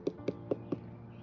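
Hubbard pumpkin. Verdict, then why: Ripe. Four quick knocks are made on a green hubbard pumpkin before it is harvested, each a short, dull, hollow-sounding tap centred around 400 Hz that dies away almost at once. The hollow sound, along with a nail test and its colour, marks the pumpkin as ripe and ready to cut.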